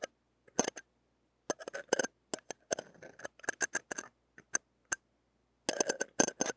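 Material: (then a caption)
Steel mesh. A stainless steel ear-pick tip scrapes and taps across the hollow, dome-shaped wire-mesh metal grille of a small mini microphone with a blue metal body, held in the fingers. It makes many sharp, bright clicks and scratchy rasps in quick clusters separated by brief silences. The sound is very close and crisp, with almost no low end and no ring.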